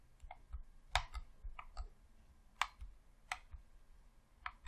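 A thumb presses the D-pad and thumbstick on a hollow red plastic Xbox controller, making a quiet, irregular series of short, dry clicks. The clicks are bright in the mid and high range over a faint low rumble and die away almost instantly.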